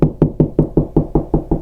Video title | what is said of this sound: WALL CASE INSTALLATION | it starts to sound more solid